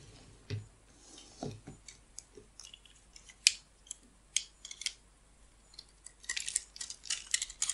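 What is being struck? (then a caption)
Bar of soap shaved with a small blade. A small metal blade shaves and scrapes slivers off a solid, hand-sized oval bar of pink soap held in the hand, with the flakes falling onto a white table beside other untouched bars. Crisp, bright scraping ticks and short shaving strokes come in scattered bursts, with a few soft, low taps early on. The scraping grows denser and more rapid near the end.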